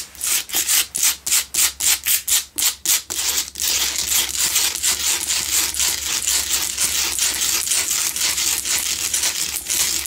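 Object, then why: Salt block candle holder. Long nails scratch the sides of a lit, solid pink Himalayan salt block double candle holder. A run of quick, separate rasping strokes gives way to continuous, bright, gritty scratching with no low end.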